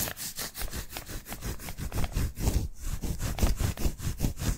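Painted fingernails scratch and tap the white adhesive paper roll of a hand-sized lint roller. Quick, dry scratching strokes repeat at a loose, fast rhythm, each carrying a low papery thump under a bright, airy rasp. The sound stays fairly even from start to finish.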